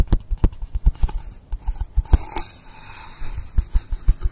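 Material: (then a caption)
Polystyrene foam. Fingernails tap and scratch the side and top of a long, solid blue polystyrene foam block resting on a table. About fourteen short, dull, low thumps come in quick succession, with a steady, soft scraping hiss in the middle before the tapping resumes. Each tap dies away almost instantly.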